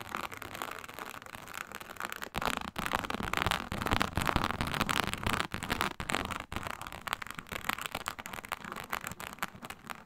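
Long pointed nails scratch and drag across the scales of a flat, iridescent, embossed reptile-scale synthetic faux snakeskin leather mat. The result is a dense, irregular, crackly rasping with a bright hiss, swelling louder through the middle of the clip. Brief near-silent breaks come around 2.3 and 6.5 seconds.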